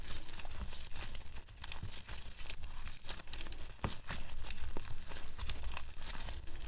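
Fingers in pink nitrile gloves squeeze, knead and press a small, solid, sticky lump of soft white slime with pink specks over a white table. The result is a dense, irregular run of wet crinkling and crackling pops with short bright snaps, over a steady low, muffled rumble.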